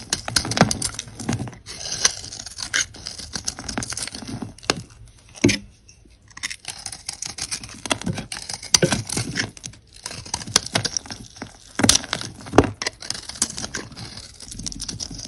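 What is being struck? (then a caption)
Soap bar. A metal knife blade scrapes and carves thin shavings off a solid green-and-white marbled soap bar with a blue glitter coating, held in one hand, and the shavings pile up below. Dense, crisp, bright scraping comes in rapid bursts of crackly, tearing strokes, with brief quiet pauses between runs.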